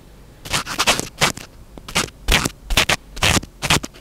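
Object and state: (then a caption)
Foam microphone windscreen being scratched. Fingertips pinch and scratch a small black foam windscreen on a microphone. Close, bright, scratchy rustling comes in short irregular bursts over about four seconds, each dying off quickly into near silence between strokes.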